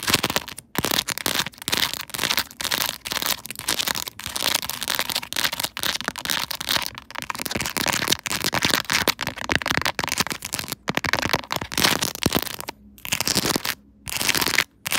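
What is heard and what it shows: Long acrylic nails tap and scratch over the small round raised resin cartoon charms and the surface of a clear plastic case on a smartphone mounted on a tripod. The result is a dense, bright, crackly stream of quick clicks and scrapes with almost no low end. Brief silent gaps break it up near the end.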